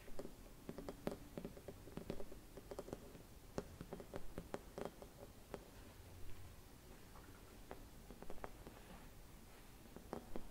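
Fingernails tap and scratch a hollow, silvered mercury glass Christmas bauble with a metal cap. Quiet, irregular clicking taps, each dying away almost instantly, are interspersed with soft scratching over a low background hum.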